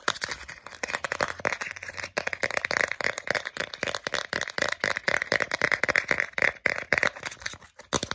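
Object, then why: Small flat plastic card. Long nails rapidly tap and scratch the face of a small, flat, solid plastic Starbucks gift card held close to the camera. The result is a fast, dense stream of dry, crisp clicks and scrapes, bright and centered near 2 kHz, with almost no low end and no ringing between strokes.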